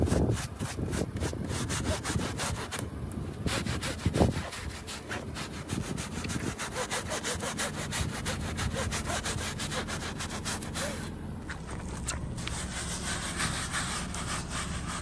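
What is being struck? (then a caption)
Woven fabric rug scrubbed with a bristle brush. A hand scrubs the powder-covered back of a woven fabric rug with a wooden brush, then with a white plastic scrub brush. Quick, steady back-and-forth strokes make a continuous rough, rasping scrub with a heavy low rumble and bright bristle hiss, holding at an even level throughout.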